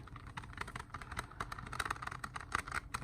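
Plastic CD cases are tapped at a steady, unhurried pace, producing a quick series of short, dry clicks centered around 1.2 kHz over a faint low rumble. The taps are smooth and pleasant, slower than fast tapping.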